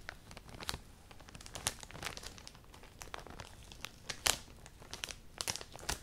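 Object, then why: Thin plastic poly bag holding clothing. A clear, thin plastic poly bag filled with black clothing is pinched, stretched and crinkled between long painted nails and fingertips. The result is a steady, bright crinkling with sharp, crackly spikes scattered throughout, and very little low end.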